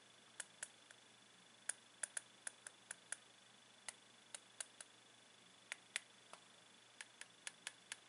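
The tip of a blue plastic pen taps along the surface of two unwrapped milk chocolate Santa figures, likely hollow and about 15 cm tall, standing on a ceramic plate. About 22 quiet, crisp, bright ticks come at irregular intervals, each dying away almost instantly. A faint steady hum and a thin high tone run underneath.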